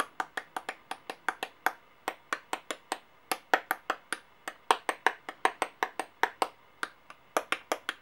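Small solid metal coins, brass-colored and silver, are held upright between nails and fingertips on a clipboard and tapped and clinked against each other and against coins lying flat. About 36 quick, separate, bright metallic clicks and tings land in an uneven rhythm, each dying away almost at once, with a tonal center near 930 Hz and a sparkling high edge.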